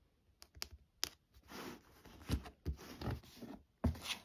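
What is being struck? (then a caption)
Leather-bound hardcover book. Long nails tap and scratch across the embossed cover of a burgundy, textured, leather-bound hardcover book. Sharp, irregular clicky taps alternate with soft, rasping scratches over a quiet background.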